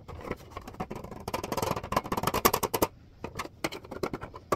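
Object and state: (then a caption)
Plastic clipboard. Fingertips tap and scratch the back and edges of a plastic clipboard with a white back and red front. Quick, dry, irregular clicks and taps mix with brief scratchy rubs, with no ring after each hit. The pattering thins out briefly around the three-second mark and then picks up again.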